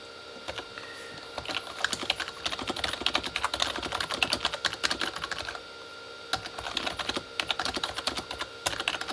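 A full-size Corsair K35 plastic membrane keyboard with red backlit keys sits as a solid desk device while both hands type fast on the keys with their fingertips. Dense, bright plastic clicks and taps rattle in two bursts, with a brief quieter pause near the middle.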